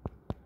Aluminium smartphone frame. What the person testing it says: Ini frame-nya sudah aluminium Jadi kalau diketok nih keras